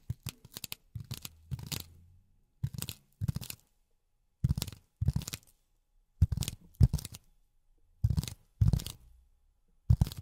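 A flat, solid grey polyethylene foam sheet, held in both hands, is tapped and scratched with silicone pads on the fingertips. Short bursts of quick, dull taps and scratchy rustles with a low thud come in irregular clusters, separated by brief silences.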